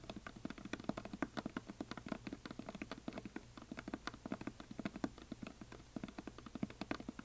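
Fingernails of both hands tap rapidly along the side edges of a solid, painted wooden heart plaque. The result is a quiet, steady patter of short, dry clicks with a woody, low-mid tone around 285 Hz. Each click dies away almost instantly.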